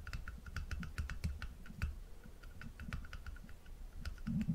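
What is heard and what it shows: A small, round, apparently empty glass jar with a dark lid is held in one hand above a wooden table while the other hand's fingertips tap quickly on the jar and its lid. The result is a rapid, uneven run of short, dry clicks and soft low knocks, each dying away almost at once, with a faint bright ring on the sharper taps.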